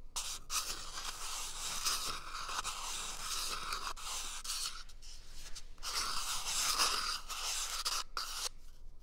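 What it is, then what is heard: Cardboard toilet paper tube. A small, empty, hollow brown cardboard toilet paper tube is held close to the microphone and scratched and tapped with fingertips. A steady, bright, dry scratching rasp runs throughout, broken by a few brief pauses and soft taps.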